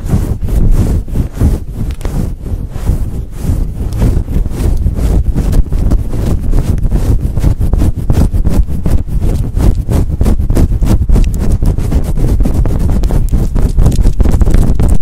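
Long nails rub and scratch across a fluffy faux fur windscreen on a microphone, slowly at first. The result is a loud, continuous, muffled rumble of dense scratching strokes, deep and boomy with almost no high end, centred around 117 Hz.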